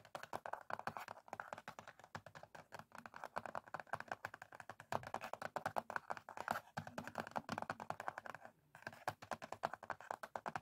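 Both hands' fingertips and short nails tap quickly on the top of a small, closed, printed cardboard matchbox, like typing. It makes a steady stream of dry, hollow, clicky taps, centered in the midrange around 700 Hz, with almost no ring. The tapping runs continuously for about eleven seconds, with a brief pause near the 8.7-second mark.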